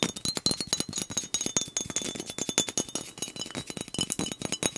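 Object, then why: Glass soda bottle. A fingernail taps quickly and hard on a glass soda bottle held sideways with liquid inside. The taps come in a dense, uneven run of short, bright clinks, each with a faint high glassy ring above them.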